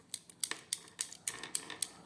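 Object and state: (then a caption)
Bakelite prayer beads clicking. A two-colour prayer bead string (tesbih) with 9x13.5 mm beads, made from old bakelite the maker had set aside for himself, is run through the hand so the beads knock together. About thirteen sharp, bright, high-pitched clicks follow in an irregular quick series, each dying away almost instantly. The clear click is presented as proof of the material's quality.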